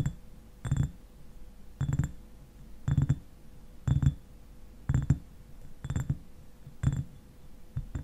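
Fingernails tap the shoulder and sides of a clear glass eyewash bottle that stands upright and is partly filled with liquid. Short clusters of soft, dull taps come roughly once a second, mostly low in tone with a faint bright glassy tick on top, and each dies away almost at once between quiet pauses.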